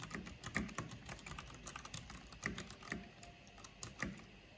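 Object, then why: Plastic mechanical keyboard. Fast tapping on a full-size black plastic mechanical computer keyboard with a purple backlight and hollow housing, typed with long painted fingernails and fingertips. A quick, uneven stream of short clicky keystrokes, each a low hollow thock with a bright plasticky tick, with a few louder strokes standing out. The clicks die away almost instantly.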